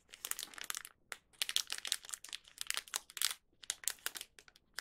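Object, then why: Thin plastic snack wrapper. A small, thin plastic Young Donut wrapper holding a donut is held in both hands with the fingertips, turned over and squeezed. It gives off bursts of bright, dry crinkling with almost no low end, separated by brief quiet gaps.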